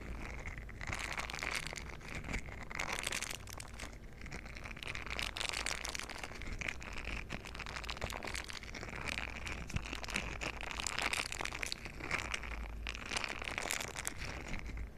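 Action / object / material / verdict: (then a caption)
scrape / silicone scrubber pad with bristle nubs / silicone / none. A green silicone scrubber pad with bristle nubs is bent and squeezed in both hands while its bristles are rubbed together with fingers. The result is a steady, close rubbery rustling and crackling with bright, brushy swells over a constant low hum.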